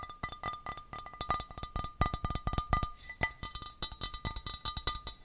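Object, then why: Small glass vase. A small, clear, textured glass vase, hollow and empty, is held close to the microphone and tapped rapidly with fingertips and nails. The result is a dense run of quick, bright clicks and taps, each with a short glassy ring near 1.2 kHz that fades almost at once.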